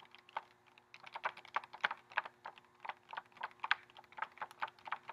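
Fingernails tap rapidly across the front and edges of a flat, pink printed cardboard lip gloss set box, held up with a clear plastic window showing nine gloss tubes. Around two dozen short, dry, clicky taps come at an uneven, typing-like pace, with crisp midrange and bright tips that stop instantly with no ring. A faint steady hum sits underneath.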